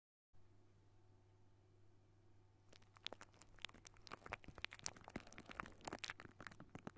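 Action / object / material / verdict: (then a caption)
scrape / wire-mesh metal microphone grille / metal mesh / none. Fingertips with short nails from both hands scratch and tap the hollow silver wire-mesh metal grille of a large condenser microphone. After a quiet stretch with a low steady hum, a dense run of bright, crackly scratches and sharp little taps begins near the three-second mark and continues to the end.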